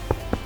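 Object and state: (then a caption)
Fully baked bread loaf, hollow. Two taps on the underside of a large tourte country bread loaf give short, dull, low-pitched hollow knocks that die away almost at once. The hollow sound shows the loaf is fully baked.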